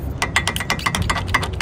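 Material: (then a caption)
Metal, rubber. On a Volvo FH 460 truck, the cab shock absorber (metal with a rubber bushing) is worked by hand, giving a rapid series of sharp, short metallic knocks with a faint ring near 2 kHz over a low rumble. The rubber of the absorber's stop has come loose, so the absorber no longer damps and the cab knocks.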